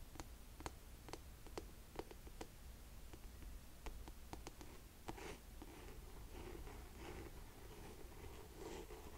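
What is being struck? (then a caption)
Suede ankle boot with a firm heel. A black suede buckle ankle boot is held upright while fingernails tap its heel and scratch the suede shaft. Sharp, short clicks come first, followed by softer, rasping scratches over a steady low hum.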